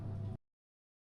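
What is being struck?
Nothing is struck.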